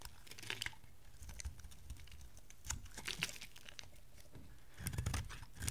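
A dry oval green and dark blue solid soap bar, held in the hand, is cut and scraped into thin flakes with a metal utility knife. Soft, brittle scraping crackles come in bursts over a low, steady rumble, with sharper crunchy snaps near the start, middle and end.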